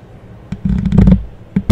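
A thin, solid green plastic clothes hanger about 40 cm wide is held in both hands and tapped and scratched with the fingernails along its bar and arms. A dull tap is followed by a stretch of low, rustly scratching, then two more sharp taps at the end. The sound is dull and low-heavy with almost no bright content, and each tap dies away almost at once.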